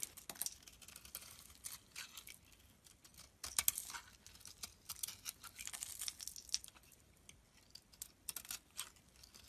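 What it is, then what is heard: Soap bar being shaved. A utility knife blade shaves and scrapes curls and flakes off a solid pink soap bar held in the palm. Quiet, bright, crisp scraping comes in quick bursts of short, dry strokes with a papery, tearing texture and almost no low end.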